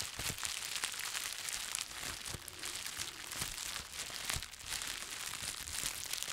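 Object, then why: Plastic bubble wrap. A bundle of plastic bubble wrap is held in both hands and squeezed and rubbed by the fingers. The result is continuous bright, high crinkling with many sharp crackling snaps and very little low end.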